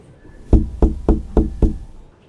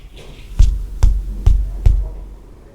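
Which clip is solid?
The second.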